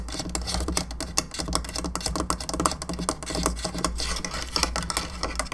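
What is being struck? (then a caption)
Plastic skull lamp. Long nails on both hands scratch and tap the sides of a hollow painted plastic skull candelabra lamp standing on its base. Rapid, dense plastic clicks and bright scratchy rasps come in an uneven stream, over a steady low hum.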